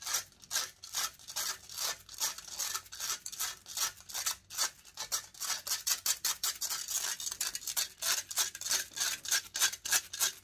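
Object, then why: Metal mesh microphone grille. Long nails scratch rapidly and aggressively across the hollow metal mesh grille of a large silver condenser microphone, held close up. Quick, uneven strokes give a steady stream of bright, hissy scraping bursts with a high, sharp rasp and almost no low end.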